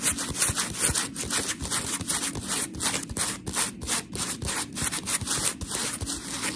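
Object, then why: Polymer foam scrub sponge. Long pink nails of both hands rub and scratch a solid, palm-sized round blue textured polymer foam scrub sponge with smiley cut-outs. The result is a rapid, uneven series of gritty, bright scratching strokes, dense hiss with a soft low rustle underneath.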